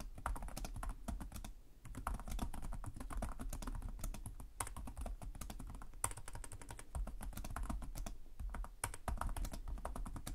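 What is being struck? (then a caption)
Plastic laptop chiclet keyboard. Fingertips with short nails type continuously on the plastic chiclet keyboard of a black laptop resting on a desk. The rapid key taps form a dense, steady stream of short clicks with a soft low thump, briefly easing just before the two-second mark before carrying on at an even pace.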